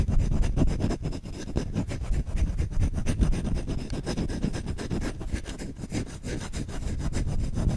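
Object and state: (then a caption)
Wooden spoon being scratched. Fingertips scratch and rub the bowl of a solid wooden spoon fast and aggressively, close to the mic. The result is a dense, irregular stream of rough scraping strokes with a heavy, boomy low end and little brightness, holding steady throughout.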